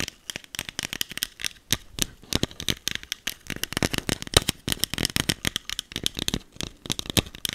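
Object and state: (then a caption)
Plastic spray bottle. Long acrylic nails tap and scratch a small green e.l.f. plastic setting spray bottle with a clear cap, held in hand. A rapid, uneven run of short, dry, bright clicks and scrapes follows, with almost no ring after each tap.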